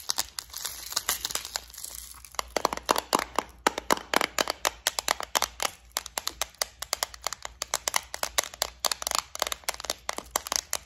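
Long orange nails rapidly tap and scratch the lid of a flower-shaped clear plastic compartment case full of gold studs. The result is a fast stream of sharp, bright plastic clicks that stop almost instantly, with a light scratchy rustle between the taps.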